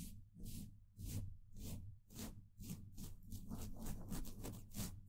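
The bristle tip of a small paintbrush, held in the fingers, rubs and taps across a hollow steel mesh microphone grille. Irregular swishing strokes come through as bright, airy hiss bursts over a steady low, boomy rumble, the brushing growing quicker and busier toward the end.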